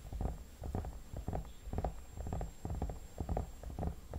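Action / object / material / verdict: tap / vinyl mannequin head / vinyl / none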